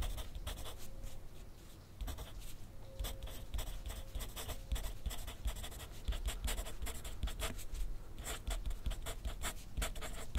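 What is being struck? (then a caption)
Graphite pencil on a paper sheet on a clipboard. A wooden graphite pencil writes continuously on a thin sheet of grid paper lying on a clipboard on a desk. Quick, bright scratchy strokes come in dense bursts over a steady low rumble, with brief pauses between words.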